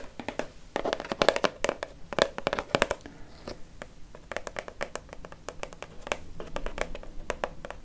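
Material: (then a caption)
Plastic. Long fake nails tap quickly on a hollow, dark blue Nivea Men plastic shower gel bottle about 20 cm tall. The result is bursts of dry, clicky taps with almost no ring and a faint hollow tone around 570 Hz, with short pauses between the flurries.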